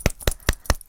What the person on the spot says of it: If you hear it shaking real easily, then, you know, don't worry about it.